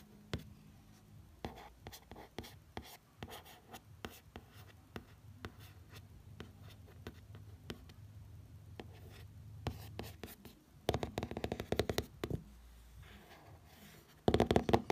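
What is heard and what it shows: A fingertip traces the printed letters on a glossy hardcover book, making quiet, dry, scratchy strokes with many faint ticks over a low steady hum. The rubbing grows louder and brighter around 11 to 12 seconds and again in a short burst at the very end.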